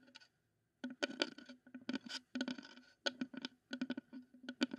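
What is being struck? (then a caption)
Wooden bowl. A wooden bowl is tapped and scraped as a close-up ASMR trigger. Quick, dry taps with almost no ring come in irregular bursts, separated by short silences, with light scratchy scraping between them. The tone is mid-pitched, with a bright, crisp edge on each contact.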